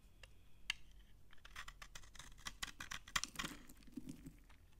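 A utility knife scrapes dry shavings from an old, dry, solid beige soap bar held in the hand, with a cut-off slice lying beside it. The sound is a quiet, rapid series of crisp, crunchy scraping clicks that are bright, short and dry, with almost no ring.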